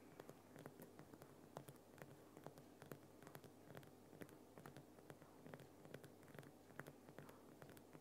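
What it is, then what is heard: Himalayan rock salt lamp. Fingernails of both hands rapidly scratch and tap the rough sides of a large, solid, lit Himalayan rock salt lamp. Quiet, dry, short taps land at an uneven pace over a continuous soft scratching rustle, each tap dying out almost instantly. A faint steady low hum sits underneath.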